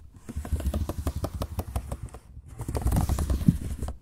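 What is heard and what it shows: Fingertips tap the plastic chiclet keys of a silver laptop keyboard in a quick, uneven run. The taps are soft, short and dull, mostly low thumps with a faint high hiss. They pause briefly just past the two-second mark before resuming at a slightly stronger level.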